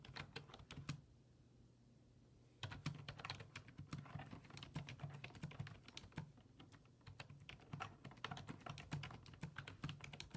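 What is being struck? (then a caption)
Plastic computer keyboard. Fingertips type rapid key presses on a black plastic full-size desktop keyboard with low-profile keys resting on a wooden desk. Dense, short, bright clicks and clacks run through the clip, with a brief pause of only a low hum from about one to two and a half seconds before the typing resumes.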